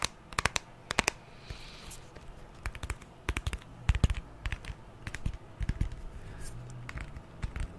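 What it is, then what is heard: Glass and aluminium smartphone tapped with nails. Long nails tap and scratch the glass screen and aluminium sides of a white glass-and-aluminium smartphone. The result is an irregular run of sharp, dry clicks in quick bursts that die away almost instantly, with soft scratchy rustling between them.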